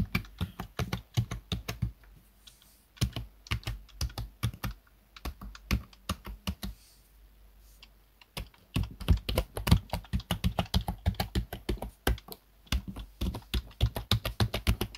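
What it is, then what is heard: Plastic computer keyboard being typed on. Fingertips of both hands type rapidly on the keys of a black plastic desktop keyboard. Quick, dry clicks with a low thump come in bursts, with brief pauses around two and a half seconds and seven to eight seconds. The typing then picks up densely to the end.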